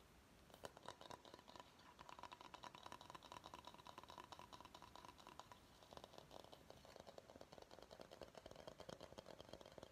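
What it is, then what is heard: Bamboo bowl. Fingernails of both hands tap and scratch the outer base of a medium, empty bamboo bowl. Rapid, dry clicking taps mix with scratchy rustling, each tap dying away almost instantly over a faint hollow tone. The sound runs steadily for the whole clip, with only a brief dip in activity just before the six-second mark.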